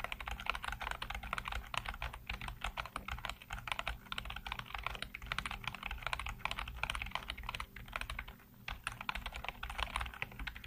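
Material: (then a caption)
Plastic. Fingertips type rapidly on the keys of a black plastic backlit computer keyboard, producing a dense stream of quick, bright clicks and clacks with very short ring. The typing runs steadily for about ten seconds with a brief pause near the 8.5-second mark, over a faint low hum.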